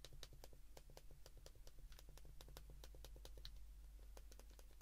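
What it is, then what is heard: Plastic flip phone keypad. Thumbs repeatedly press the number keys of a handheld white plastic flip phone, producing a quick, steady run of short, dry, bright clicks. The clicks are quiet and sit over a constant low hum.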